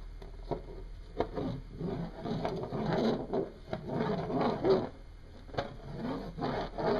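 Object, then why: Small hematite magnet on a wooden desk. A single small, solid, oval, dark metallic hematite magnet, set in motion by hand, spins and rattles across a wooden desk top. It makes a dry, buzzing scrape against the wood, broken by sharp little clicks, and the sound swells and fades over the seven seconds.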